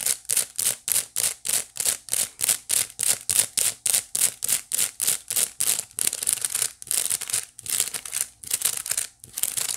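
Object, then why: Woven wicker basket. Long nails on both hands scratch the flat woven face of a small hollow white wicker basket. A steady run of short, bright, hissy scrapes comes at a brisk rhythm with almost no low end. The strokes then turn faster and denser, blurring into a more continuous rasp.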